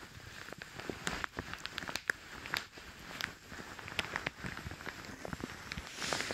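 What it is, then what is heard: Plastic shower cap. A light green plastic shower cap over the ears of a dummy head is gripped and rubbed with fingertips and long dark nails. The thin plastic makes dense, bright crinkling and scratching, with many sharp, short crackles over a soft, steady rustle.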